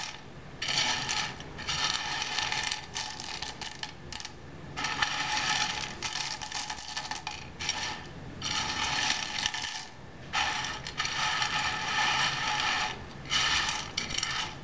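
Fingertips rake across the surface of a large loose pile of dry in-shell sunflower seeds on a white board. The result is repeated bursts of bright, crisp rattling and clicking as the shells shift against each other. Short pauses separate the bursts.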